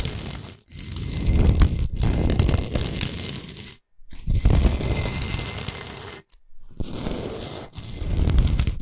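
Long nails scratch fast along the sides and edges of a large, flat, solid pink Himalayan salt block. They make a dense, gritty, crunchy scraping with a strong low rumble, broken by a few short pauses.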